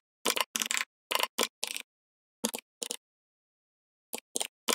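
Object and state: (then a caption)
Plastic membrane keyboard typing. Fingertips of both hands type rapidly on a full-size, backlit plastic membrane gaming keyboard with red lighting. Short clusters of quick, bright, clicky key taps with no low end come in bursts, separated by a long silent pause before a final flurry.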